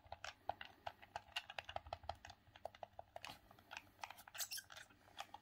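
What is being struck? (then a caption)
Plastic handheld game controller. Thumbs repeatedly press and click the D-pad and buttons of a hollow, grey hard-plastic hand-held Sega Saturn game controller. Around 30 quick, dry plastic clicks and taps come in an uneven rhythm, each with a hollow knock near 700 Hz and a bright, high edge. The clicks stop almost instantly, with barely any ring.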